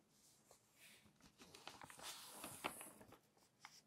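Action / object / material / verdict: scrape / glossy paper magazine / glossy paper / none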